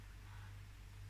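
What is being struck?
Nothing is struck.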